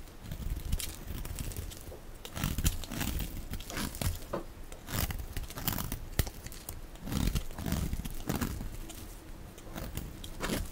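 A dark blade shaves and scrapes curly flakes off the surface of a solid, dry, hand-sized orange-red soap bar held in one hand. The strokes come through as dense, crisp crinkling and scraping bursts with a heavy low-end body and short bright edges that die away almost instantly.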